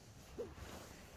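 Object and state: Nothing is struck.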